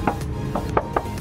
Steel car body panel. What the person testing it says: ini masih kaleng banget. Masih kaleng